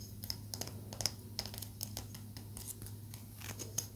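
A small solid palo santo wood stick, held toward the camera, is tapped with long nails. Quick, light, bright clicks come in an irregular run over a steady low hum.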